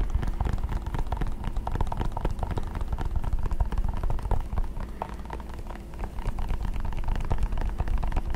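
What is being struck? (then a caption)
Small plastic power adapter. A small, solid white plastic charger block is held in both hands and tapped and scratched with fingertips and nails. The result is a dense, steady stream of quick, irregular clicks and scrapes over a deep low rumble, easing slightly near the six-second mark before picking back up.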